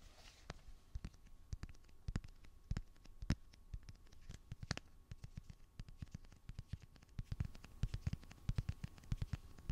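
Fingernails tap and scratch the back of a light blue plastic phone case on a handheld smartphone. Quick, dry clicks come in irregular bursts over a faint scratchy rustle, with the sharpest taps growing denser toward the end.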